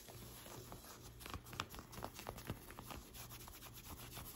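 Long white acrylic nails and fingertips scratch and rub the sleeve and shoulder of a light blue cotton t-shirt being worn. Soft, continuous fabric rustling is broken by sharper nail scrapes and brief bright scratches, over a faint low hum.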